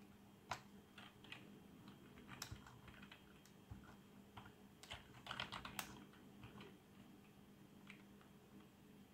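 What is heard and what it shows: Fingertips type on the keys of a black plastic membrane keyboard with RGB backlight, producing soft, dull clicks and muffled taps in irregular bursts. A few sharper, brighter clicks stand out above a quiet, steady low hum.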